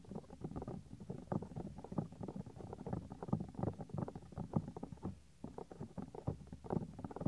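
Fingertips rub and squeeze the small, solid, white soft silicone ear of a 3Dio binaural microphone. The result is a close, muffled stream of dense rubbing and soft thumping, heavy in the low end with almost nothing bright. There is a brief lull just past five seconds before the rubbing resumes.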